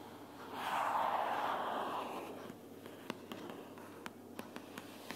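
Long purple fingernails tap a closed pink paperboard sticky notes organizer, first with one hand and then with both hands. A soft, breathy rustling swell around the middle pitches comes first, then eight sharp, dry clicking taps ring out over a low hiss.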